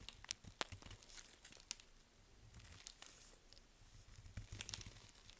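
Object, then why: Bar of soap cut with a knife. A small curved knife carves and scrapes thin flakes off a dry, crumbly Svoboda "Green Tea" toilet soap bar held in purple nitrile-gloved hands. Quiet, bright, crisp crunches and short tearing scrapes come in an irregular stream, with sharp cracking snaps that stop dead without ringing.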